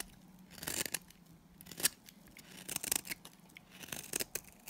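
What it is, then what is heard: Dry bar soap shaved with a blade. A solid oval tan bar of dry Timotei soap, held in the hand, is shaved and scraped along its edge with a utility knife blade. The result is a series of crisp, dry, bright scraping and shaving bursts that come at irregular intervals, with quieter rasping between strokes.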